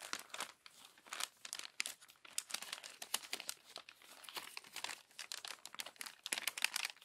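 Long nails unfold and smooth the crinkled, crumpled pages of an open glossy paper magazine. Dense bursts of bright, dry crinkling and crackling rise and fall throughout, with almost no low end and no lingering ring.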